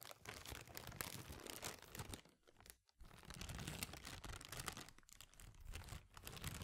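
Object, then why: Thin plastic bag. A small, thin, empty clear plastic bag is held in both hands and crinkled and scrunched by the fingers in front of the microphone. It makes dense, crackly crinkling that spans low rustle to bright high crackle. The sound dips into a brief near-silence around the middle and then resumes just as busily.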